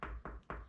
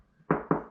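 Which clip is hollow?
The second.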